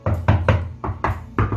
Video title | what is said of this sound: 임대인과 임차인중 누구의 잘못인가? (수서동 아파트누수) | 타일 이 들떠 있기 때문 입니다 . 소리 를 들어 보세요 . 속이 빈 소리 가 납니다